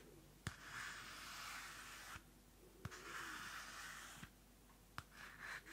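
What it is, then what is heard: Paper notebook handled. Long manicured nails handle a small pocket-size pink card-covered paper notebook with a white Pantone label and a solid stack of pages, flipping through the pages and scratching the cover. Soft, bright papery rustling and scratching swell and fade in stretches, broken by sharp, quick nail clicks against the card. The sound stays quiet and close throughout.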